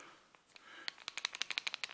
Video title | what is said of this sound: A look at some flashlights | when you shake it, you can hear the batteries rattling around